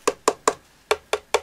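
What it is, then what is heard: Hollow cast resin figure. Six sharp knocks on a 29 cm Nemesis Now Sister Mortis nun figure, a cast decorative piece that is completely hollow underneath with no felt pads on its base. Each knock gives a short, hollow, woody clack around 430 Hz with a brief bright edge, in two groups of three. The knocks reveal a very hollow, cheaply made figure.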